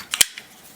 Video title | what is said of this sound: CKF - Custom Knife Factory Marauder Titanium- Initial Impressions and Overview | they sound hollow and that's just because you know you're taking a tie scale you're putting it on an inside frame that's drilled out to create air pockets